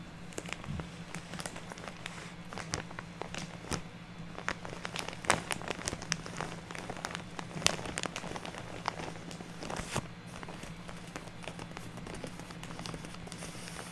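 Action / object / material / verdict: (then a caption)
scrape / soft plastic bag filled with artificial snow / plastic / none. A large, soft printed plastic bag full of fluffy artificial snow lies on a table while long nails scratch and tap across the plastic. Dense, crinkly crackles and many sharp, bright clicks ring out over a steady low hum.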